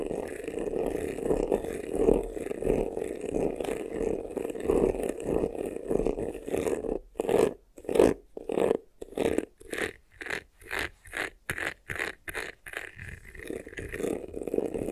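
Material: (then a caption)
Faux leather. Short nails scratch fast across the front of a medium black croc-embossed faux-leather vanity case, a glossy textured hollow box with a handle. A continuous rough, raspy scratching with a hollow midrange tone gives way midway to quick separated strokes, some brighter and more whistling. It then settles back into steady scratching.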